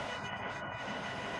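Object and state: Nothing is struck.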